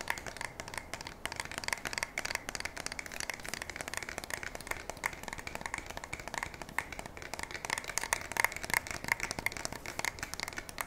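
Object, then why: Polymer and metal shotgun stock and fore-end. A black polymer and metal pump shotgun is held up by the barrel while fingertips and long nails tap and scratch along its stock and fore-end. The result is a steady stream of quick, dry, crisp taps and scratchy rasps, bright and centered around 2 kHz, with almost no low end or ring.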